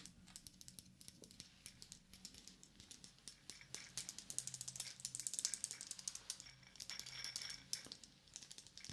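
A wristwatch with a segmented wooden link band, a metal case and a round wooden medallion tag is held in the hands while the band is handled and tapped with fingertips and yellow plastic fingertip claws. Dozens of quick, dry, bright clicks and light rattles come in irregular bursts, each dying away almost instantly.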